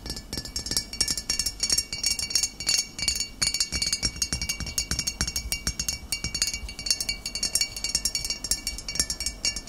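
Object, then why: Glass bottle. A full glass vinegar bottle of amber liquid with a green label is tapped on its shoulder and sides with the short fingernails of both hands. The result is a rapid, steady stream of bright, high glassy clinks, each dying away almost instantly.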